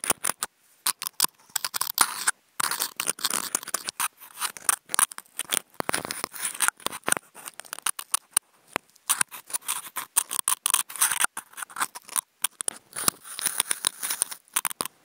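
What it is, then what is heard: Corrugated cardboard sheet. Wooden toothpicks fitted with contact mics are dragged and scratched along the edge area of a large, flat corrugated cardboard sheet. The result is a rapid run of dry, bright scratching and rasping strokes, with no low end and short silent gaps between bursts.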